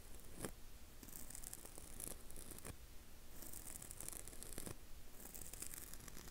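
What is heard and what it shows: Fingertips and short nails scratch and rub across the flat surface of a rectangular blue dry foam kitchen sponge, porous and soft, held in the hand with its scour pad already removed. The quiet, dry scratching comes in repeated strokes with bright, hissy bursts over a low, muffled rumble.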